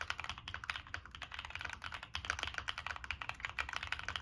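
Fingertips of both hands type steadily and quickly on a Monsgeek M1 mechanical keyboard with NK Creams switches, a dark metal case, a POM plate and purple/black plastic Cherry-profile keycaps. Each keystroke is a short, crisp, clacky tap centered in the upper mids with a bright edge, and the strokes die away almost instantly. The result is a continuous run of dry, rapid typing with little low end.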